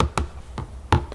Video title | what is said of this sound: ASMR * Tapping & Scratching * Whispering * Fast Tapping * ASMRVilla | It's actually just the top of a storage box, like a plastic storage box, and I found it had some really lovely scratching sounds and tapping sounds